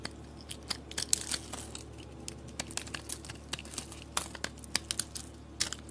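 A utility blade carves crumbly chunks from a solid orange and green decorated bar of soap held in hand. Crisp, bright crunching snaps and scrapes come in an uneven series of short, sharp clicks over a faint steady low hum.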